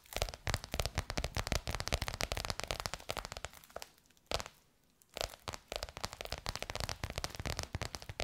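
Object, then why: Embossed faux leather cover over a curved hollow form. Long nails tap rapidly on a bronze-gold crocodile-embossed faux leather cover stretched over a curved hollow form. The result is dense, dry, crackly clicks with a low hollow thump beneath and bright edges, each tap dying away at once. A brief near-silent pause falls around the middle before the tapping resumes.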